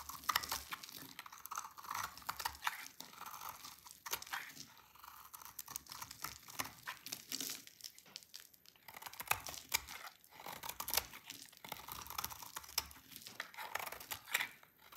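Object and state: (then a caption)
Dry soap bar shaved with a blade. A rectangular, solid, dry pink soap bar is shaved with a utility knife blade, and the flakes fall onto a pile. Quiet, crisp scraping and crackling strokes repeat throughout, with a bright, papery texture and brief dry crunches as the blade bites.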